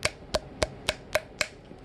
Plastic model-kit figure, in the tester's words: they're all hollow ... yeah you hear that it's hollow